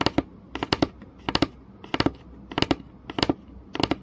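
Fingernails tap rapidly on the surface of a flat, solid wooden board, close up. Quick clusters of short, dry taps repeat at a steady pace, each tap a bright click over a low woody knock that dies away almost instantly.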